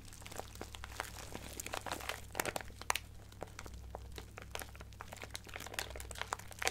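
A small clear resealable plastic bag with a cardboard header, full of colorful acrylic craft gems and sequins, is held in both hands and crinkled and squeezed with fingertips and long painted nails. Dense, bright crinkling runs throughout, with many sharp clicks and rustles of the gems shifting inside over a low steady hum.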